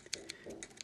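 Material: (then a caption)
Plastic. A Sprint Palm Pre Plus smartphone is shaken, and its loose slider assembly rattles in a quick series of bright, dry clicks with almost no ring. The rattle comes from the loose slider part, which tightening its screws fixes.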